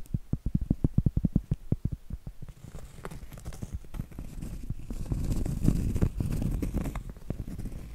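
Long acrylic nails tap and scratch the flat face of a round solid cork trivet held upright. A quick run of dull, low, separate taps gives way to a denser, continuous rustling scratch with scattered soft knocks, all muffled with almost no high end.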